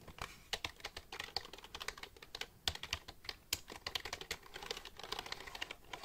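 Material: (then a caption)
Plastic. Fingertips rapidly type on the keys of a black plastic computer keyboard held upright. The result is a quick, uneven stream of short, bright clicks with almost no ring and little low end, with some taps landing louder than others.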